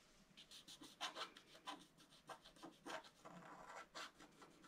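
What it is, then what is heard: Scratch-art card being scratched. A pointed wooden stylus scratches across a flat A4-size scratch-art card, black coating over a colored foil layer, lying on a table. A quick series of short, dry, bright scratching strokes rasps along with little low end, each stroke dying away almost instantly.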